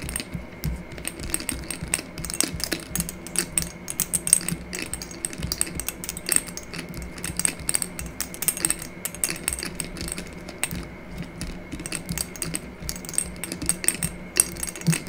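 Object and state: Amber glass dropper bottle.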